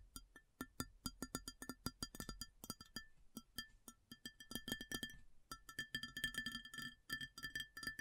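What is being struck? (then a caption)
Ceramic plate. Long fingernails tap rapidly on an empty, large, round white ceramic plate. The result is a quick, irregular run of sharp clicks, each with a short bright ring. The taps bunch into dense flurries near the middle and end.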